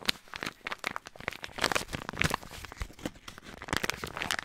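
A small, flat yellow foil-lined paper Bolognese sauce-mix sachet filled with powder is held in both hands close to the microphone and crinkled and rubbed with the fingertips. It makes a dense run of bright, crisp crackles and crunchy rustles with sharper snaps scattered throughout, each dying away instantly.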